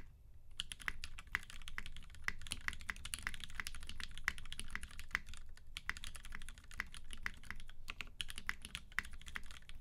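Both hands type continuously with their fingertips on a UTD 360C tenkeyless mechanical keyboard in a gummy-worm mount, with Vintage Black switches lubed with 205g0 and filmed, white PBT keycaps and a silver aluminum case. A steady stream of quick, dry keystrokes is heard, each a short clack with a bright click near 2 kHz over a deep low body. The clacks die away almost instantly, with only a few brief lulls in the typing.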